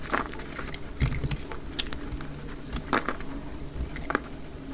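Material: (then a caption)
Soap. A utility knife blade scrapes thick curls off a dry, solid orange-yellow soap bar, with the action sped up to double speed. Quick, crisp scraping crackles and bright clicks come in irregular bursts over a low, steady hum.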